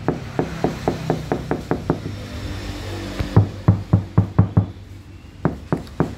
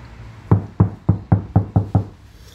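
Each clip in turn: First: car door panel damped with asphalt sheet, hard dull knock. Second: car panel with butyl rubber damping.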